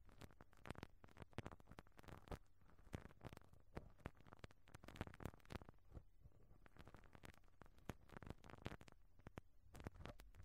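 A pink rubber-bristle brush on a black stick rubs back and forth over the round, perforated, hollow metal mesh grille of a small microphone capsule. It makes a quiet, continuous scratchy crackle with dense, rapid clicks over a low, boomy rumble.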